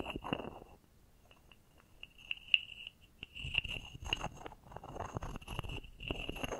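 A small carved solid wooden frog toy with a ridged back is held in the hands while a wooden stick is rubbed and scraped along its ridges, with long painted nails nearby. Dry rasping, crunchy scrapes come in bursts over a steady ringing tone near 2.8 kHz, with a quieter stretch of light, sparse taps in the middle.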